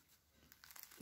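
A freshly baked semolina and type-2 flour loaf, stood upright on a cooling rack, crackles faintly as it is handled while it cools. Quiet, dry crinkling builds into a few sharper crunchy snaps near the end, the sign of a crisp, well-baked crust.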